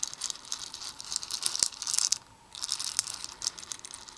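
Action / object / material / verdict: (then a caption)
shake / small plastic beads in a plastic bowl / plastic / none. Open black plastic tweezers poke and stir through a pile of small hollow plastic Perler fuse beads in a red plastic bowl. The beads give off a dense, bright, clicking rattle with sharp ticks, pausing briefly midway before the stirring resumes.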